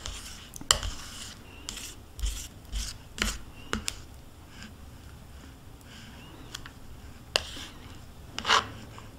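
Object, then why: Thin plastic cup scraped with a metal spoon. A metal spoon scrapes the inside of a small, hollow, hand-held plastic yogurt cup with yogurt residue inside. Bright, rasping scrapes and sharp clicks come in short bursts over a low background hiss. Each stops almost instantly, with no ringing.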